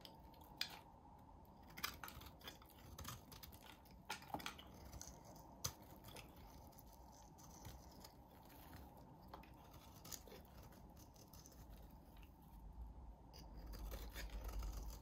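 A snap-off utility blade shaves and scrapes the flat surface of a solid, hand-sized, pale blue bar of soap with a green rim, held in one hand. Soft, dry scraping runs throughout, broken by sharp, bright clicks and snicks of the blade. The sound swells into a louder rumble near the end.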